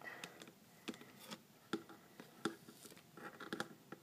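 Fingertips and short nails tap and lightly scratch the red plastic lid and sides of a small plastic tub of acetone nail polish remover, likely full, standing on a glossy table. Quiet, dry, irregular taps with brief hollow plastic clicks are interspersed with soft, bright scratching, and each tap dies away almost instantly.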